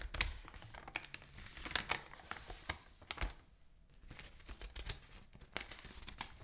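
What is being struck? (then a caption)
Open newsprint newspaper. An open newsprint newspaper has its pages lifted, crinkled and turned by hand while long nails scratch across the page surface. Bright, dry crinkles and rustles are broken by sharp crackling snaps, with a brief quieter stretch near the middle before the rustling picks up again.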